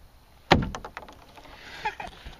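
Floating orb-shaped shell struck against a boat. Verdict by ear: Hollow.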